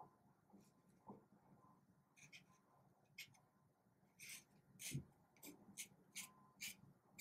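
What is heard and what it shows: A black felt-tip marker draws in scratchy strokes on a small, thin paper card held in one hand. Short, bright scratching bursts come in irregular succession over a quiet, low background hum, growing busier and closer together in the second half.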